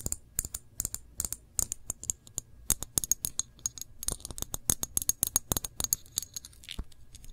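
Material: Glass.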